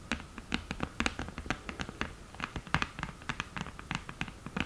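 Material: Cardboard.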